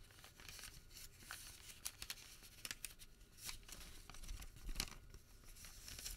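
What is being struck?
Thermal paper receipt.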